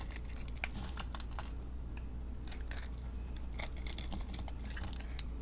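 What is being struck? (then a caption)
Bar of soap. A metal blade cuts small sticks off a solid mint-green bar of soap held in the hand and scrapes its surface, making a quick run of crisp, bright scraping and clicking sounds. A steady low hum stays underneath throughout.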